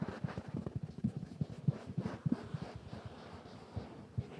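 Fingertips and nails scratch and rub a soft, stuffed mustard-yellow velvet cushion with pompoms. The result is a series of irregular, dull low scuffs and soft rustles with almost no high end, each fading at once.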